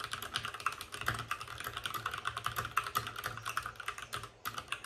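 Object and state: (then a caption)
Plastic mechanical keyboard being typed on. Fingertips of both hands type fast on a white RGB-backlit mechanical keyboard with plastic keycaps and a hollow plastic case. The result is a rapid, continuous stream of short, clacky plastic key strikes, centered around 1.3 kHz with bright high clicks. The typing briefly pauses near the end before resuming.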